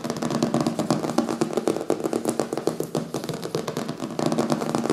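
Fingertips and nails quickly tap and scratch across the glossy printed paper front cover of a closed "Zombies" hardcover book lying solid on a wooden table. The result is a rapid, steady stream of dry, muted taps and scratchy rustles with a soft papery body and very short ring.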